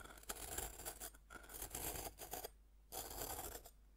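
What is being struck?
Pressed-powder bath bomb scraped with a metal fork.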